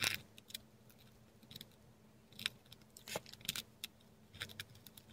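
A metal dip pen nib writes letters in ink on a flat sheet of textured Korean paper, recorded close-up. Short, bright, dry scratches come in irregular bursts, with quiet gaps between strokes over a faint low steady hum.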